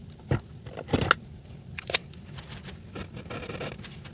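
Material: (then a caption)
Paper. A grey Sharpie felt-tip marker colors a flat paper coloring page, its tip scratching back and forth on the paper near Santa's face. Short, dry, scratchy strokes come and go over a quiet background, with a few sharper, brighter scrapes standing out above the soft, continuous rasp.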